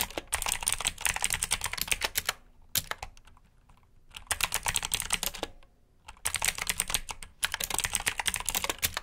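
Fingertips type on the keycaps of a black plastic mechanical keyboard with blue switches, producing rapid, bright, clicky keystrokes. The typing comes in four bursts separated by short pauses.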